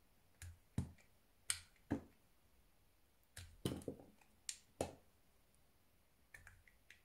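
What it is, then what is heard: Bar of soap being sliced. A blue-handled metal knife carves thin slices off the corner of a solid white rectangular soap bar held close, with a cutting and scraping action. Twelve short, crisp snaps come at an uneven pace, each a brief bright crack with a soft low thump and almost no ring, separated by quiet pauses.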